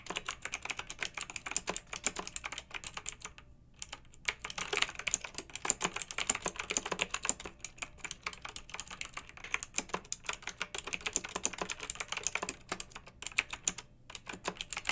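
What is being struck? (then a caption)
Plastic mechanical keyboard. Fingertips with long nails type steadily on a pink backlit plastic mechanical keyboard with round keycaps. The keystrokes are fast, bright, and clicky, with each tap dying away almost instantly. Brief pauses break the typing just before the four-second mark and near the end.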